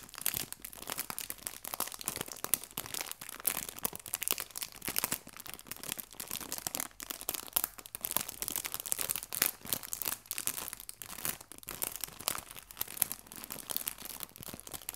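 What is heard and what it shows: A small, clear, cellophane-like plastic bag holding soft, pliable, flat fabric autumn leaves is crinkled and pressed with fingertips and long red-painted nails. The result is a steady, quiet stream of crisp, bright crackles and rustles, with dense clusters of sharp snaps and almost no low end.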